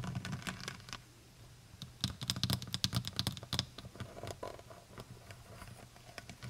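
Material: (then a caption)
Plastic. Long white nails tap rapidly on the brown plastic cap and shoulders of a full plastic honey bottle. The result is quick, irregular bursts of dry, bright clicks over a soft low thud, with a denser flurry in the middle of the clip. Each tap dies away almost instantly.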